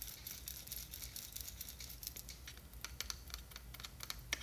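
Long nails tap quickly and scratch the sides of a small clear plastic jar with a blue label and a white lid, full of glitter. A rapid run of sharp, bright clicky taps with short scratchy rasps plays over a soft low rumble, each tap dying away almost at once.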